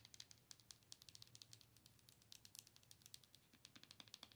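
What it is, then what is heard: Plastic owl night light tapped with nails. Long nails rapidly tap the surface of a hollow, color-changing plastic owl night light. The result is a quick, continuous run of sharp, bright clicks with almost no ring, heard quietly over a faint low hum.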